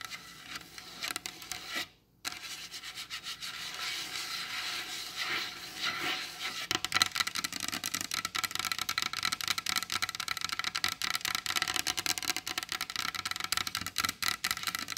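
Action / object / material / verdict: tap / varnished wooden tabletop tapped and scratched with acrylic nails / varnished wood / none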